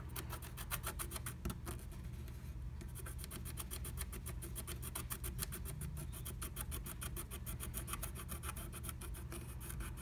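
A wooden stylus scratches dense, rapid strokes into a flat black-coated scratch art sheet inside the heart cutout of a blue stencil. The result is a steady stream of short, dry, bright rasping scrapes over a constant low rumble, with a brief pause in the scratching at about two and a half seconds.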